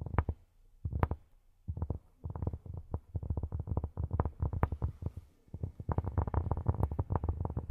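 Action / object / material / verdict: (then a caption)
tap / cork surface / cork / none. Cork is tapped with silicone rubber pads on the fingertips, producing soft, dull, low thuds with almost no ring. The taps come in quick irregular bursts separated by brief pauses, ending in a dense, steady run of tapping.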